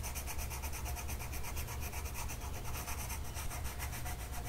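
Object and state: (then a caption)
Paper sheet being coloured with a pencil. A blue colored pencil tip is rubbed across a flat printed mandala coloring sheet of paper lying on a table and held down by one hand. The result is a steady, soft scratchy rubbing with a rhythmic back-and-forth texture, a low, heavy body and faint bright grain on top.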